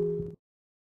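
The original 1890 iron striking hammer, set to a 6 cm stroke, strikes the 1664 bronze bell in the north-east lantern of the Briançon collegiate church. The bell gives a clear tone near 410 Hz over a lower hum that fades for about a third of a second before cutting off. At this setting the bell rings properly.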